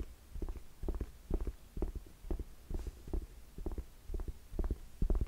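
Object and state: Suede ankle boot.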